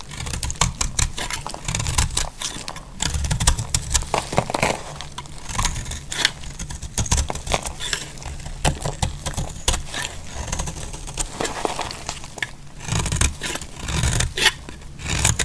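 A utility-knife blade cuts and scrapes chunks off a solid, partly carved bar of dry pink soap. Rapid, crisp crackles and dry scraping ticks repeat steadily over a low, rumbling bed, with bright, short snaps that die away almost instantly.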